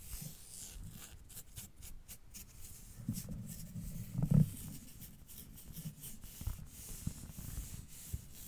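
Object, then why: Stretch-knit fabric leggings. Long dark-painted fingernails on both hands scratch grey textured stretch-knit leggings worn on the thighs on either side of the mic. The scratching is a steady, soft, low rustle concentrated in the low range, with a brief louder swell partway through.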